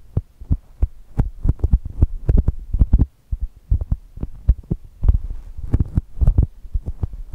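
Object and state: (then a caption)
Foam squishy toy. Long nails tap and scratch the coated surface of a soft brown polyurethane foam squishy shaped like a chocolate toast, lying on the microphones. The result is a rapid, uneven run of short, deep, muffled thumps, almost all low bass, with brief pauses between bursts and faint scratchy textures around the taps.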